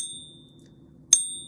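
A pure silver coin is tapped once on a pocket pinger, giving a sharp click and a high, bright ring that fades quickly. Pure silver rings higher-pitched and somewhat deader than 90% silver, but it still rings, so the coin is judged real. A faint high ring from an earlier tap fades out in the moments before.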